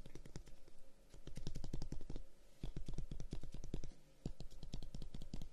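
A closed dark-wood folding fan with light paper between its slats is held in both hands while fingertips and nails tap and scratch along its wooden guard. Rapid, dry, clicky taps come in three quick runs separated by brief pauses, each tap short with a low thud and a bright tick that dies away almost at once.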